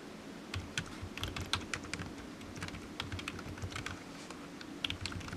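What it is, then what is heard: Plastic computer keyboard. Fingertips type on a low-profile black plastic computer keyboard with hollow keys resting on a desk mat. A steady run of quick, bright, hollow key taps with short clicks, each dying away almost instantly over a soft low hum.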